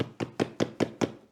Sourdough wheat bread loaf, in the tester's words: отакий звук має бути. Це означає, він готовий. Це спечена хлібина повністю.